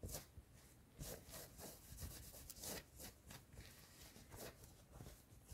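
Long nails scratch quickly back and forth across the chest of a worn yellow fleece cotton hoodie inside a car. The result is a run of fast, rough rasping strokes with a bright, hissy texture over a soft low rumble.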